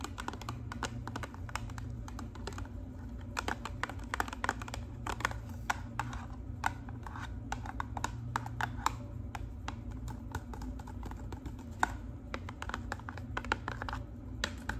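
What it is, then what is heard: Paperboard box tapped with fingernails. Long acrylic nails tap and scratch the sides of a small, hollow, rectangular printed paperboard L'Oreal Colorista hair dye box. Quick, dry, papery clicks fall in a rapid, steady stream over a low, constant hum.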